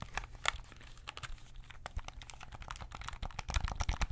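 Fingertips tap and press the buttons and sticks of a white and black PS5 DualSense controller with a hollow hard plastic shell, held in both hands. A quick, irregular stream of short, dry, clicky taps carries hollow low thuds under bright click edges, and the taps grow louder and denser toward the end.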